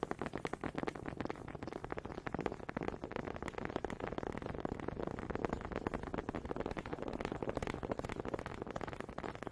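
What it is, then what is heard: Wooden honey dippers. Two small solid wooden honey dippers with grooved heads, held in both hands with long red nails, are knocked and rubbed together in front of a microphone. The result is a steady, rapid stream of short, dry wooden clicks and rattles with a warm mid-range tone, continuing evenly for about nine seconds.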